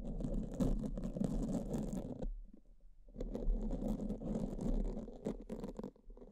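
Pink silicone spoolie tips are rubbed and scratched across the surface of black foam microphone covers with both hands. This makes a dense, low, muffled rumbling scratch with soft crackles, which pauses briefly near the middle and then resumes just as busily.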